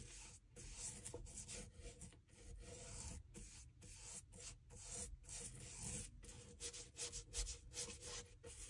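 A small wooden-handled bristle brush rubs liquid over the solid leather outsole and heel area of a dress shoe turned upside down. Quiet, repeated back-and-forth brushing strokes make a bright, scratchy rasp over a low rumble, with short pauses between passes.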